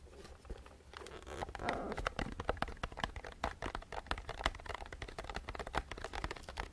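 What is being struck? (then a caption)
Plastic jar filled with mixed nuts. A medium clear plastic jar full of mixed nuts is held in the hands and tapped with fingertips and nails, and possibly shaken. Dense, rapid clicks and knocks follow one another with a faint low hum underneath and a short rustle of the contents near the start.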